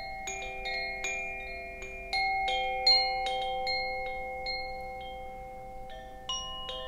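A hollow bamboo Koshi wind chime with a wooden sail is held by its string and swung by hand, so the metal rods inside strike and ring. Bright, bell-like tones sound at irregular intervals and overlap into a shimmering, sustained wash that slowly fades between strikes.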